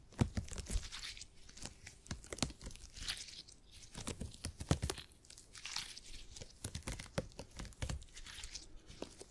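A purple stretchy gel grid cushion made of hyper-elastic polymer is pinched, squeezed and scratched with fingertips. It makes a dense run of sharp, sticky pops and crackles, like tearing or crinkling, with short low thumps and swelling bright hiss. The snaps are quick and dry, dying away almost at once.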